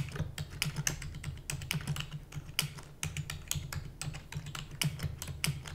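Fingertips with long natural nails type rapidly on a full-size black plastic computer keyboard with plastic keys and a hollow housing. The result is a quick, uneven stream of short, bright, clacky keystrokes that die away almost instantly, over a steady low hum.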